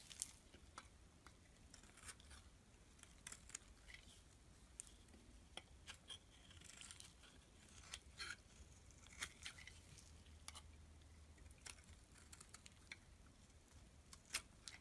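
A solid black-and-white striped bar of soap, held in the palm, is scraped with a metal utility blade. It makes quiet, crisp, bright scratching and sharp clicking shavings, with irregular brief bursts over a faint low background hum.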